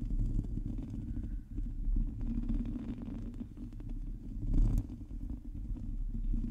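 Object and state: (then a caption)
Metal mesh microphone grille being scratched. Long teal nails scratch a hollow metal mesh microphone grille while both hands close around the mic head. The result is a dense, low rumbling scrape with muffled thuds, steady in level and swelling briefly near the end.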